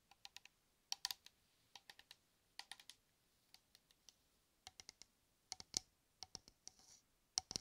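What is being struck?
Metal aerosol can.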